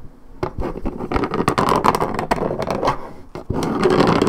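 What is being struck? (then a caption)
Coated paperboard juice carton. Long red-painted fingernails scratch across the coated cardboard top and side of a 1.75 L Minute Maid paperboard orange juice carton held on its side. Quick, irregular scratchy strokes follow one another, dry and papery with a midrange rasp and little low end. After a brief pause near the end, the scratching resumes slightly louder and more continuous.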